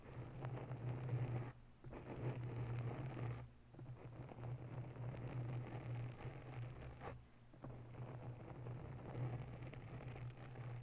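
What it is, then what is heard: Foam microphone windscreen being scratched. Long nails scratch slowly and softly across the top and sides of a grey foam windscreen on a microphone, making a dense, muffled rustling scrape. A steady low hum runs underneath, and the scratching stops briefly three times before resuming.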